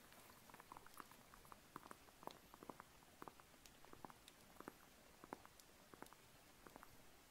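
Long polished nails scratch and tap the peel of a small, whole, unpeeled mandarin orange held in the hand. The result is a quiet, irregular patter of short, dry clicks and crisp scratches that die away almost instantly, over a soft, steady hiss.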